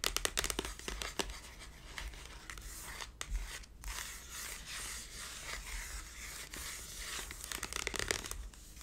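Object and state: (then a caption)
Cardboard tube packaging. A large hollow cylindrical cardboard tube box for a hair tool, with a price sticker and lying on its side, is tapped and scratched with long blue nails. Quick sharp taps give way to a steady bright scratching and rustling against the cardboard, with a few louder clicks returning near the end.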